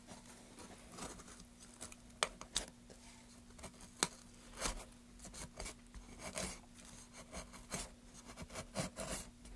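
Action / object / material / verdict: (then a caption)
scrape / pine wood board / pine wood / none. A small metal gouge carves and scrapes a solid light pine plank held in gloved hands. Dry, bright scraping strokes are punctuated by short, crisp cuts and sharp clicks, over a faint steady low hum.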